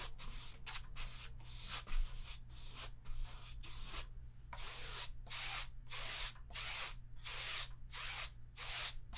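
A hand-held paint sponge repeatedly dabs and rubs grey paint across a large stretched cotton canvas, taut fabric over a hollow frame, resting on an easel. The strokes come as a steady series of short, bright, hissy scrubbing bursts. A low, constant hum sits underneath throughout.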